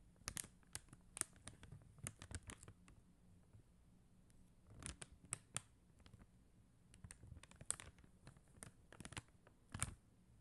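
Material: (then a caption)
Acrylic plastic. Long teal acrylic nails tap on a flat sheet of clear and blue faceted plastic rhinestone stickers on white paper backing. The result is scattered, irregular clusters of quick, dry, bright clicks with no ring, over a faint low hum, at a quiet level.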